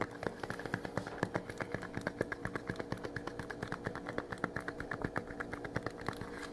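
A small flat printed metal tin, held in both hands, is rapidly tapped and scratched with the fingernails. Dense, quick clicks and scrapes overlap over a steady low hum for about six seconds.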